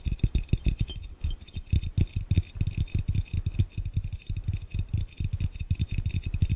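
Fingertips from both hands tap rapidly on a clear, round, hollow and empty glass fishbowl. The result is a fast, uneven patter of short, dull, low thumps with almost no ring and a faint bright glassy tick over the top.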